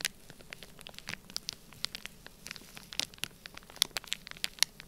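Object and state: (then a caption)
Plastic bag of kinetic sand. A black plastic stylus scratches and presses lines across a flat, sealed, clear plastic bag completely filled with orange kinetic sand. The result is a quiet, irregular run of short, dry, bright crackles and ticks with no ring, over a faint steady hiss.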